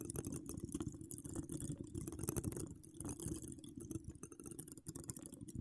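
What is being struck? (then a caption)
Metal wire-mesh microphone grille scratched with long nails. Long acrylic nails decorated with donut charms and wire spirals scratch all over the hollow metal wire-mesh grille of a large condenser microphone. The result is a dense, continuous crackle of rapid scrapes and taps, with a heavy low rumble beneath a thin bright hiss. The level rises and falls throughout.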